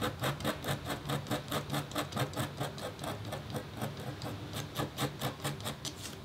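A metal-tipped stylus scratches across a thin, flat, black-coated copper foil scratch board in about twenty quick, rhythmic strokes. Each stroke makes a bright, dry rasp over a faint steady low hum.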